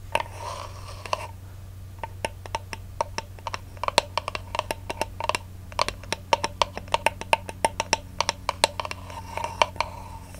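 Fingernails scratch and tap the cardboard end disc of a ribbon spool held in the hands. A brief rustling scratch opens and closes the clip, with a long run of quick, dry, hollow taps between them, each ringing around 900 Hz with bright clicky edges over a steady low hum.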